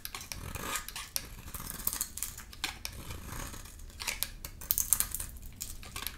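A solid rectangular brown bar of soap painted magenta is held in the hand and shaved with a utility knife blade. Quick, dry scraping and cutting strokes produce bright, crisp crackles with a soft low rumble underneath. Each stroke dies away almost at once.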